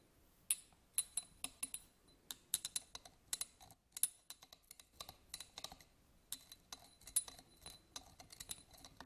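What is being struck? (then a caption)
Small studded glass votive holder. A small, hollow, empty yellow glass votive candle holder with a studded surface is scratched and tapped with a black pen-like tool. The result is a quiet, irregular run of sharp, bright clicks and ticks with brief scraping between them. Each sound dies away almost instantly, with very little low end.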